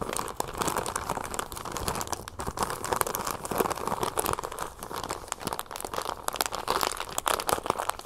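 A small clear plastic bag partly filled with brown sugar and closed with a red twist tie is held up and crinkled and scratched with long painted nails. A steady stream of dense, crisp crinkling fills the clip, centered in the midrange around 1 kHz, with rapid sharp crackles and gritty scratches that fade almost instantly.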